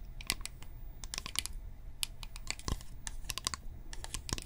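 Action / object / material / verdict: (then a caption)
tap / plastic bottle / plastic / none. Long painted nails tap a hand-held blue-and-white plastic toner bottle with a white cap, hollow and apparently filled. The result is a quick run of crisp, clicky taps with bright, short-lived ticks over a low steady rumble.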